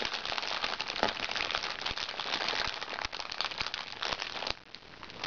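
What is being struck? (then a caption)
Plastic-film makeup bag. A small, hollow makeup bag made of crinkly recycled plastic-sachet film lies flat and is scratched and pinched with the fingertips and nails of both hands. The result is a dense, bright crinkling and crackling full of sharp little snaps. It drops quieter near the end before building again.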